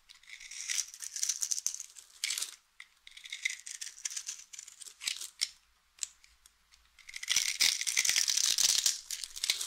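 A utility knife blade carves scored cubes and flakes off the face of a solid, hand-sized, oval pink bar of dry soap held in the palm. Bursts of crisp, bright crackling and scraping come in uneven clusters with short quiet gaps, almost all high-pitched with no low end. The densest, loudest crumbling fills the last few seconds.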